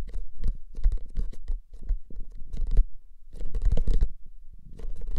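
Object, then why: Paper-wrapped cardboard tube can. A hollow paper-wrapped cardboard tube can, held horizontally, has its paper surface quickly scratched and tapped with fingertips and nails. Dry, crackly scratches and soft low, hollow thumps come in rapid bursts separated by brief pauses.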